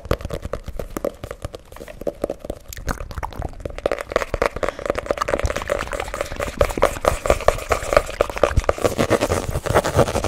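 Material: Cardboard.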